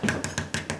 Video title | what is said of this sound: What to Do Before Painting Your Doors & Frames/Part 10 | it's a metal clad door, and it's, hear that? It's kind of like a heavy plastic or metal something